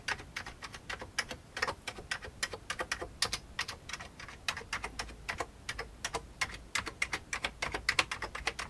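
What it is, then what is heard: Old plastic computer keyboard. The fingertips of both hands type on the keys of an old beige plastic computer keyboard. About fifty quick, bright, clicky keystrokes come in an uneven, steady rhythm, each dying away almost at once with little low end. The result is a quiet, continuous patter of typing.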